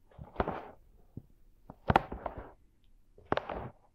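Fingertips of both hands rub and massage the two small, soft silicone ear shapes of a 3Dio binaural microphone mounted on a tripod. Three main bursts of close, muffled rubbing and crinkling arrive with brief soft taps in between. The sound is quiet and mid-toned, with little brightness and almost no ring after each touch.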